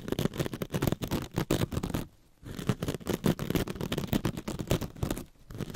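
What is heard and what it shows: Very long red stiletto nails scratch a hand-sized, rectangular, soft and compressible sponge covered in glittery metallic scouring mesh, held in both hands. Quick, dense scratching and scraping strokes carry a muffled, low-heavy texture. There is a short pause near the two-second mark and a brief lull near the end.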